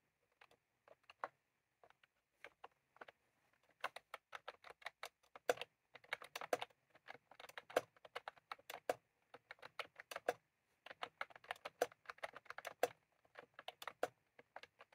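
Fingertips of both hands type continuously on a full-size plastic computer keyboard with round cream typewriter-style keycaps, resting on a desk. Quick, dry clicks come in bursts with short pauses between them, each dying away almost instantly. The tone sits in the midrange around 500 Hz, with a light bright edge and no low rumble.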